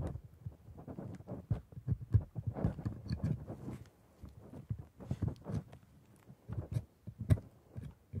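A metal scaler held in a gloved hand makes rapid scraping and tapping strokes across the white resin teeth of a plastic typodont dental model. The result is a quiet, irregular stream of short, dull clicks and scrapes, low-pitched and muffled with almost no brightness. Each tick dies away almost instantly.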